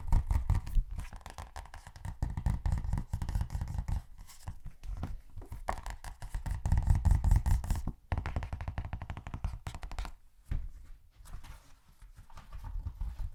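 Rapid, aggressive tapping on a thin paperback copy of *Of Mice and Men*. The taps come in fast, uneven bursts of dull, low thuds with brief lulls around the eighth and tenth seconds.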